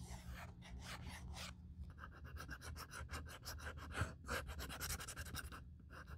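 A small folded strip of sandpaper pinched between the fingers sands back and forth along the flap edge of a black leather handbag, near its metal YSL clasp. Quick, steady rasping strokes repeat throughout, each a bright, dry scratch over a low hum.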